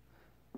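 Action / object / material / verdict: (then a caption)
knock / whole watermelon / watermelon rind / ripe. A single knock on a whole watermelon held up by the head, checking ripeness, gives a short, low, hollow thump near the end after a faint quiet hum. It rings near 260 Hz and dies out almost at once. A super hollow sound like this means the watermelon is ripe.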